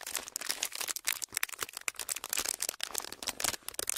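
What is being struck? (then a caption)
Thin clear plastic sheet. A pleated, thin clear plastic sheet is held and crinkled between fingertips. It makes a dense, continuous run of sharp, bright crackles and rustles with almost no low end. The bursts rise and fall quickly and die away almost instantly.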